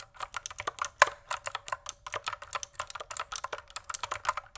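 Individual keys on a pink plastic mechanical keyboard are pressed one at a time with a single fingertip, producing about 28 short, crisp clacks at a steady, rapid pace. Each press has a bright, clicky attack that dies away almost instantly, with one noticeably louder press about a second in.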